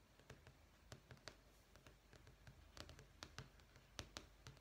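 Long fingernails tap rapidly on a thin, solid sheet of beige marble-effect vinyl flooring, a sample page in a sample book. The taps are quiet, short, bright clicks that stop almost instantly, arriving in an uneven stream over a steady low hum.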